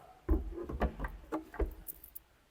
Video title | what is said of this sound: Personalização do Jimny - Acessórios parte IV - Suzuki Day decepção #suzuki #jimny #jimnysierra | 非常に硬いプラスチックですよね?その厚さは十分です強化されてます